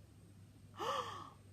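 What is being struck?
Nothing is struck.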